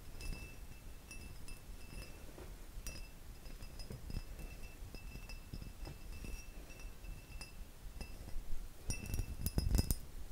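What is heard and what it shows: A hollow, empty faceted cut crystal glass vase is tapped with fingertips and nails. Light, scattered clinks with a faint steady ring come through over a low background. The tapping grows denser and louder near the end.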